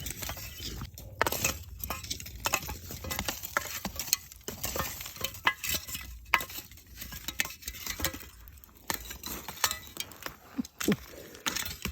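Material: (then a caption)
Charcoal. Pieces of well-burned wood charcoal are struck together, giving bright, glassy clinks with very short ring in a rapid, uneven series. One piece breaks during the striking.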